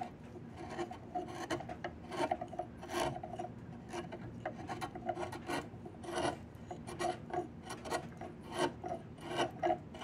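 A flat steel blade is pushed along a long, solid diamond willow branch being carved into a walking stick, in rapid scraping strokes. The result is a steady, dry rasping with bright bursts on each stroke and a faint tonal hum around 730 Hz running beneath.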